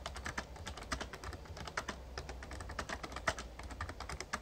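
Fingertips type rapidly on a full-size backlit plastic Razer Ornata Chroma membrane ("Mechamembrane") gaming keyboard. The result is a quick, uneven stream of short, soft clicky taps that die away almost at once, over a steady low hum.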